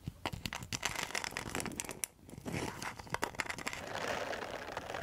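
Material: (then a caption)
Rattan. Long metal nail tips tap and scratch a round rattan and mosaic coaster, making a quick run of sharp, bright clicks and crackles for about two seconds. After a brief lull, the sound shifts into steadier dry, crinkly scratching with more scattered taps, ending in a dense rasping scrape.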